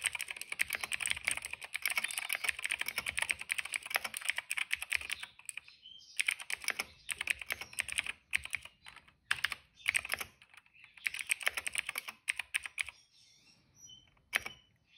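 Fingertips of both hands type on a cream plastic mechanical keyboard with black and purple keycaps and a hollow case. The keystrokes come as rapid, bright, clicky taps with almost no ring, arriving in dense runs broken by brief pauses. The typing thins out near the end and finishes with a single sharp keystroke.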